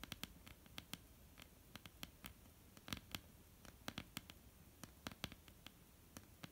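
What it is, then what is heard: Wooden tabletop tapped with fingernails. Long almond-shaped painted nails of both hands tap on a flat solid wooden tabletop. About 28 quick, dry, bright clicks come in an uneven, pattering rhythm. Each click stops at once with no ring, over a quiet low background.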